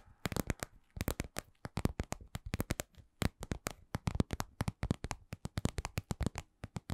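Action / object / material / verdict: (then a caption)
tap / glossy patent vinyl cosmetic pouch / vinyl / none. Long nails and fingertips tap a glossy red patent vinyl (PVC) cosmetic pouch shaped like lips, medium-sized, soft and hollow. Dozens of short, dry taps come in slow to medium, uneven clusters. Each has a soft low thump and a brief bright click that dies away at once.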